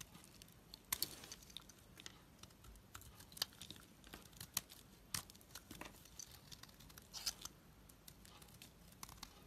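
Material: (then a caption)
Soap. A blade scrapes and shaves a solid, creamy white bar of soap held in the hand, with bits of dark coating still on it. Quiet, dry, bright scraping and crisp crackly shaving strokes come in irregular bursts, each ending sharply with no ring.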